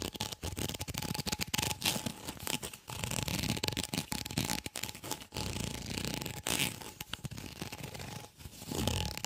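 Fingertips and nails scratch and rub along the ridges of a white, ribbed, flexible corrugated plastic tube, hollow and empty, held close to the mic. The result is a dense run of quick, raspy, crinkly scrapes with bright hiss, a low rumble beneath, and brief pauses between strokes.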